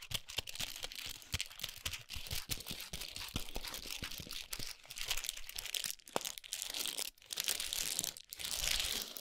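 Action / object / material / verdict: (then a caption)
scrape / chocolate bar in foil and paper wrapper / foil and paper / none. Long pointed nails tap and scratch the gold foil and paper wrapper of a large chocolate bar resting on a towel. The result is a dense run of fast, bright crinkles and crisp ticks with soft low thumps underneath.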